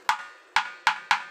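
Four sharp taps on the bare wooden body of a mango-wood dhol drum shell, each giving a bright, short ringing knock centred near 1 kHz with no low bass. The taps show the quality of the wood, which is fresh mango wood with no flaws, breaks or cracks.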